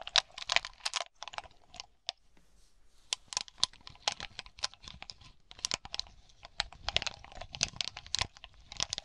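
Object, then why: Cluster of small hollow glass baubles. Long fingernails tap quickly and irregularly on a glass bauble grape cluster, a bunch of small hollow glass balls resting on a dark cloth and then picked up. The taps are sharp, bright clicks with a crinkly, crunchy texture and almost no ring, with little low end. They come in dense bursts separated by brief quiet gaps.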